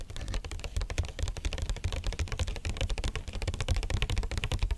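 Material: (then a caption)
Cardboard. Long nails tap quickly across the faces and edges of a small, hollow, rigid white cardboard electronics box. The result is a dense, steady run of clicky taps, each carrying a deep, hollow thump near 86 Hz and a short, bright edge that dies away almost at once.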